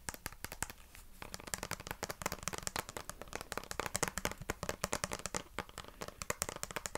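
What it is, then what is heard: Plastic detangling brush. Fingernails scratch the plastic bristles and tap the back of a black plastic vented detangling brush. The result is a quick, steady stream of sharp, dry clicks and crisp scratches with no ring after each one.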